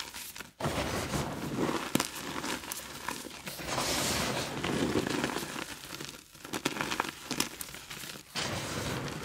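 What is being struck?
Pressed gym chalk chunks.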